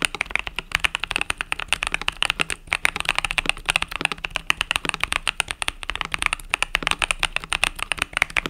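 Fingertips type rapidly on a compact mechanical keyboard with pastel purple-yellow plastic keycaps. A dense, continuous run of sharp, bright clicks and clacks with very little low end, each keystroke dying away almost instantly.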